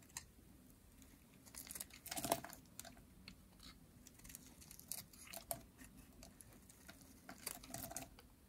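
A metal utility blade carves crumbly curls from a yellow solid dry soap bar with a ridged edge. Quiet, dry, crackling scrapes and crisp bright crunches come in irregular bursts, with the loudest stroke near the two-second mark. Each sound stops almost instantly with no ring.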